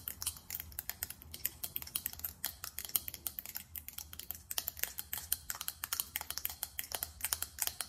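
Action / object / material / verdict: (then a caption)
tap / faceted glass perfume bottle with metal cap / glass / none. Long nails tap rapidly on a small faceted glass perfume bottle with a silver metallic cap. The taps come as a fast, steady stream of sharp, bright clicks that stop almost instantly, over a faint low hum.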